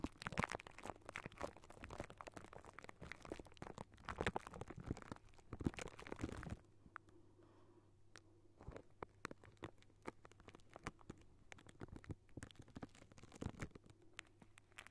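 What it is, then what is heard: Metal mesh microphone grille. Fingertips of both hands tap and scratch directly on the hollow wire-mesh metal grille of a large round microphone. For about six seconds there is a dense, crunchy scratching, then it drops to quieter, sparser dry taps and rubs. A low steady hum sits underneath throughout.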